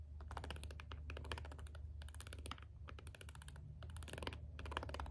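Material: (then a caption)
Plastic, rubber. A green jade stone roller is rolled over a small, hollow plastic LED remote with rubbery push buttons, pressing them as it goes. Quick, dense bursts of soft, bright button clicks come in clusters with short pauses between, over a steady low hum.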